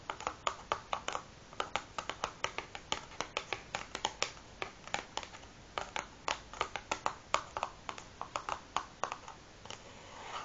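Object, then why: Large cardboard matchbox full of matches, tapped with fingernails. Long nails on both hands tap the top of a large closed cardboard matchbox, hollow and filled with matches, resting on a wooden table. Several dozen short, dry, clicky taps come in an uneven, fluttering rhythm, each with a hollow mid tone and a bright edge that dies away almost instantly. Between taps there is only a faint, quiet background.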